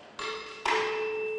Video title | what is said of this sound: Dzień Otwarty w I LO w Radzyniu Podlaskim | gdy uderzę w oba będzie słychać jeden ciągły dźwięk taki sam